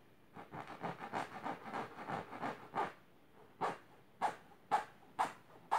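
Long silver nails scratch fast across the fabric of a large pink patterned fabric-covered box or ottoman. A quick run of raspy, midrange scratching strokes comes first, then after a brief pause come separate, sharper swipes with quiet gaps between them.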